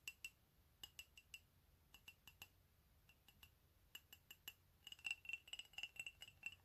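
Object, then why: Ceramic mug tapped with fingernails. An empty, hollow white ceramic mug printed with "COFFEE" is held in one hand and tapped with the fingernails of the other. The quiet, sharp clicks each carry a brief bright ring near 2.9 kHz, spaced out at first and then coming in a quicker flurry toward the end.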